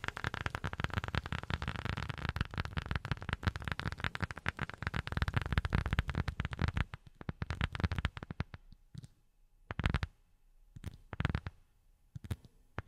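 A rubber sheet is tapped with silicone rubber finger pads, giving dull, low, thudding taps that die away almost instantly. For about seven seconds the taps come in a dense, rapid flurry with a soft noisy texture. The pace then thins out to a few scattered, separate taps with near silence between them.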